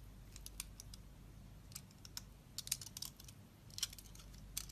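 A metal blade cuts into a solid, soft, mint-green oval bar of soap held in the palm, scraping off thick curling flakes. Short, crisp, bright scraping clicks come at an irregular pace over a faint low hum, each dying away almost instantly.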